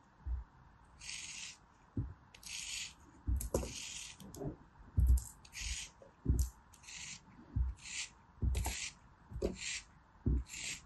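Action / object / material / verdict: scrape / kinetic sand figure / kinetic sand / none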